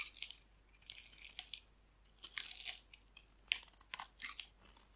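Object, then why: Bar of soap shaved with a knife blade. A hand-held, hand-sized solid bar of dry pink-white striped soap is shaved and carved with a metal utility knife blade, sending flakes falling off. Irregular, crisp scraping and crunching bursts sound quietly, almost entirely high and bright, with no low end and no ringing between cuts.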